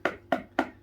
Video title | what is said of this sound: The Quietest Aquarium Air Pump Around! | it's a hollow sound on the casing